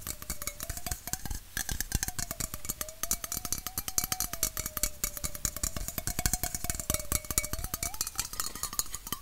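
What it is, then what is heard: Aluminum bottle tapped with fingernails. A red aluminum Coca-Cola bottle-shaped can, hollow and held in the hand, is tapped rapidly with fingernails. The result is a dense, continuous stream of short, bright clicks with a faint wavering hollow ring beneath them.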